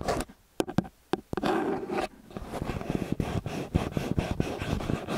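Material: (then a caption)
Metal. Long fingernails scratch and tap the metal capsule housings and grilles of a small silver XY stereo microphone with two angled capsules on a black and metal body, which rests on a white cylinder. Sharp taps break through a few quiet gaps, then a steady close, low rumbling scrape runs underneath a quick series of clicks.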